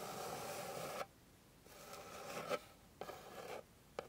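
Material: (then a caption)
Wood. Long pink nails scratch the surface of a flat, light, solid wooden board. Three dry, rasping passes sit mostly in the midrange and are separated by short quiet gaps. A brief sharp tick closes the clip.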